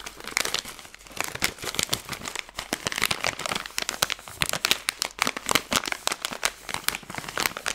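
A plastic-film Skittles candy bag is bent and crinkled while long fingernails run over its surface. The result is a steady stream of sharp, bright crinkles and crackles with almost no low end, each burst dying away instantly.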